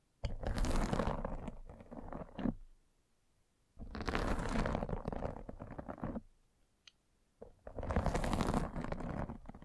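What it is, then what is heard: Fabric mesh microphone cover being scratched. A metal-spiked derma roller is rolled over a white fabric mesh net covering a round microphone head in a scratching action. Three passes of dense, crunchy scratching come through with a heavy low rumble, separated by short quiet gaps.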